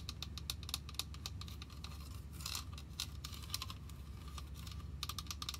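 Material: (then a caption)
Plastic. A hollow white and pink plastic toy wishing well with a purple arch, about 10 cm across, is held in the hands and tapped with fingertips and nails. Quick, light, clicky taps come in irregular bursts, with bright ticks over a steady low rumble.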